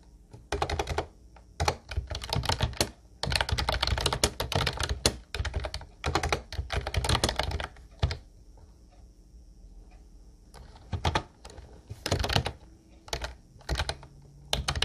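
Both hands type with their fingertips on a light blue plastic Ubotie retro keyboard with round white keycaps. It makes bursts of fast, clacky keystrokes with a deep, hollow thock and bright plastic clicks. Quieter pauses separate the bursts, and each keystroke stops dead with no ring.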